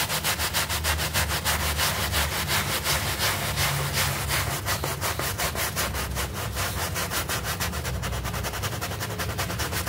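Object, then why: Artificial-grass doormat scrubbed with a hand brush. A hand brush is scrubbed back and forth across a small, flat, green synthetic turf doormat covered in soap foam, while the other hand holds the mat. Steady, rhythmic, scratchy strokes repeat about three times per second, each a bright, broadband swish with a low rumble underneath. The scrubbing continues evenly at a constant level throughout.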